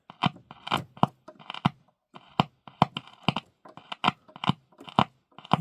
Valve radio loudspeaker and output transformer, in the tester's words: you just tap it across there, you hear the speaker popping. And that straight away tells you that your speaker and output transformer are probably good.